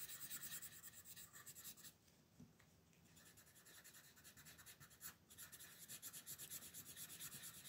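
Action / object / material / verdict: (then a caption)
scrape / paper coloring page under a colored pencil / paper / none. A red colored pencil shades a thin paper coloring book page resting on a table, using quick back-and-forth rubbing strokes. The strokes make a soft, bright, scratchy hiss in a steady rhythm, easing off to lighter, quieter shading between about 2 and 4 seconds before returning to fuller strokes.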